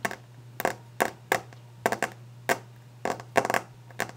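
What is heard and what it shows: Long orange glitter-painted nails tap and scratch quickly across a solid, varnished, polished wooden desk top. Each brief, dry, bright click-and-scrape burst dies away almost at once, over a faint steady low hum.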